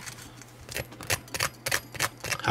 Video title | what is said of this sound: Bacon Mac N Cheese Balls | just hear how crispy that is